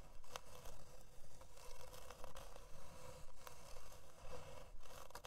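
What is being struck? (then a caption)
Thin plywood board. Long dark nails scratch across the surface of a thin, flat, solid plywood heart-shaped board. Ten quiet, dry scraping strokes come in a steady rhythm of about two per second, each with a rasping texture centered near 500 Hz and no ring afterward.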